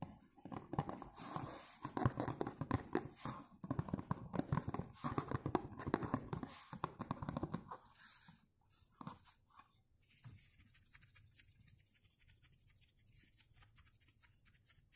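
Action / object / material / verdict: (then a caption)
scrape / cardboard box / cardboard / none. Fingertips and nails scratch and tap the front of a dark blue cardboard perfume box, making dense, irregular dry scratching and soft tapping for about eight seconds. The sound then drops to a few quieter taps and ends in a lighter, steady hiss-like scratching.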